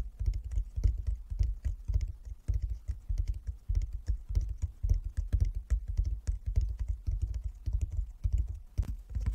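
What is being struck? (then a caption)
Wooden chess board. A flat wooden chess board with light and dark inlaid squares is tapped with the fingertips of both hands. The result is a fast, uneven patter of soft, dull taps, deep and woody, each dying away almost at once.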